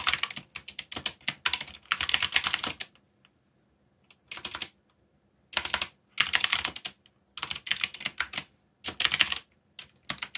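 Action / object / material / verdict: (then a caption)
tap / plastic mechanical keyboard / plastic / none. Fingertips type on a backlit black plastic mechanical keyboard, producing bursts of rapid, bright, clicky keystrokes separated by short pauses. Each click is dry and dies away almost instantly, with little low-end body.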